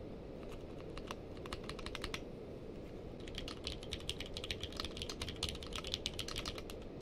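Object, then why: Mechanical keyboard with plastic keycaps. Two hands type with fingertips on a purple-case mechanical keyboard with white and purple plastic keycaps. Short, bright clicks come sparsely at first, then in a faster, denser run after about three seconds. A steady low rumble stays underneath throughout.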